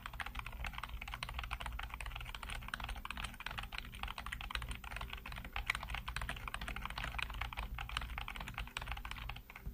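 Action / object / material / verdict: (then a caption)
tap / plastic computer keyboard keys / plastic / none. Fingertips type rapidly on the keys of a black plastic backlit computer keyboard, producing a dense, continuous stream of short, dry clicks and clacks. The key sounds are bright with little ring, over a steady low hum beneath.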